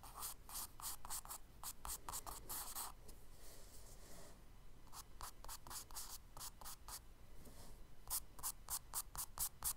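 A charcoal stick scratches short hatching strokes for grass on the solid surface of a tan kraft paper page in a spiral sketchbook. Quick, bright, dry scratches come in rapid runs, with quieter stretches of soft rubbing in between. The recording is quiet overall, over a low background rumble.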